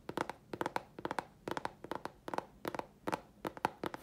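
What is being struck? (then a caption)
Thin chipboard sheet. A thin, flat grey chipboard sheet held in the hands is tapped and scratched with long fingernails. Quick clusters of dry, clicky taps with a mid-pitched knock sit over a faint scratchy hiss. Each sound dies away almost instantly.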